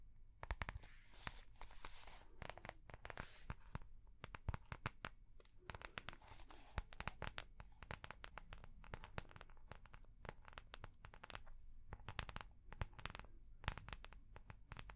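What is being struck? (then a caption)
Soft plastic notebook cover with metal rings. Long painted nails tap and scratch the clear soft plastic cover of a small ring-binder notebook with metal rings, held close. Dense, rapid clicks and sharp taps mix with crinkly scratching over a low rumble, each tap dying away almost at once.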